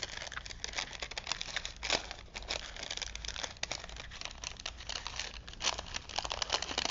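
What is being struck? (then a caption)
Paper film strip on a wooden spool. A thin printed paper movie film strip, vintage and wound on a wooden spool, is held in both hands while fingertips unroll and crinkle it. Dense, bright crinkling and crackling rustle continuously, with sharper louder crunches near the start and end. The sharp paper clicks stop instantly with no ring.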